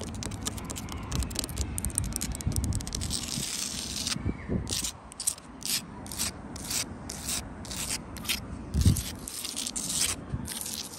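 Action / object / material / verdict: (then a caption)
scrape / sandstone wall with mortar joints / sandstone / none. Long acrylic nails scratch across the gritty surface of a solid sandstone wall built from blocks with mortar joints. Dense, rapid raspy scraping fills the first few seconds, then gives way to separate bright strokes over a low, steady rumble.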